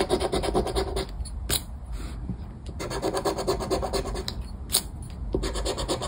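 The scratch-off coating of a flat paper scratchcard lying on a wooden table is scraped with the edge of a round black plastic scraper held between the fingers. Rapid, rhythmic back-and-forth rasping strokes make a dry, bright scratching texture, broken by short pauses and a couple of sharper ticks.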